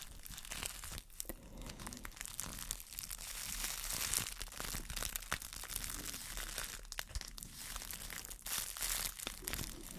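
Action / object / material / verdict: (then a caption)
scrape / thin plastic bag / plastic / none. A small, clear, crumpled plastic wrap bag is held close to the microphone and crinkled with fingers and long nails. Dense, bright crinkling and crackling runs steadily for about ten seconds, with brief sharp snaps standing out here and there.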